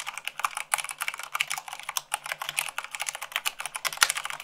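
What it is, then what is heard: Plastic mechanical keyboard being typed on. Long acrylic nails type fast on a full-size mechanical keyboard with white plastic keycaps on a black base. About thirty quick, dry, bright clicks and taps run together in an uneven stream with almost no low end. One sharper, louder clack lands near the end.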